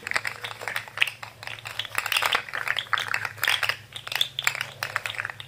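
A rainbow plastic jointed fidget slug toy with an orange head and hollow segments is twisted and bent by fingers, making a rapid, irregular stream of dry, bright plastic clicks and rattles. The clicks are sharp and short with no ring, centered around 2.5 kHz, over a faint steady low hum.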